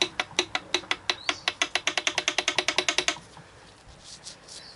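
A loose steel connecting rod on the crankshaft of a Chrysler 3.5 engine, under teardown, is rocked back and forth by hand to check for play. It gives a fast run of sharp, bright metallic clacks that rattle for about three seconds, then stops, leaving only faint noise. The rod bearing is badly loose and not normal, matching the knocking the bottom end had before teardown.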